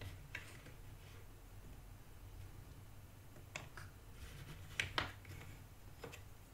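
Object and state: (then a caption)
Cardboard jigsaw pieces stirred in a box. Fingertips stir and scratch through loose cardboard jigsaw puzzle pieces in a shallow cardboard box that is half full. The result is quiet, continuous papery rustling and scraping, broken by a few sharp, bright clicks and ticks as pieces knock together, over a faint low hum.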